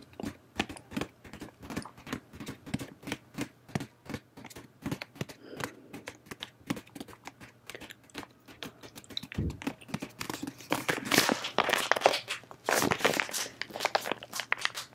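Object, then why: Soft plastic wipe packet. A soft, pink flexible plastic face wipe packet filled with wipes is held in both hands and squeezed and crinkled with long painted nails and fingertips. Steady, crisp crinkles and light nail clicks patter through the clip. They grow louder, denser and brighter in the final third.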